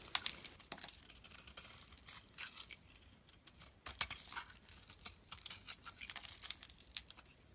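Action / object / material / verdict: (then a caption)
scrape / bar of soap / soap / none. A utility knife blade carves and shaves the surface of a hand-sized solid lilac soap bar held in the palm. Quiet, bright, crisp scraping and crinkly shaving sounds come in a steady run of short strokes with brief pauses. Each stroke stops dead, with almost no low end.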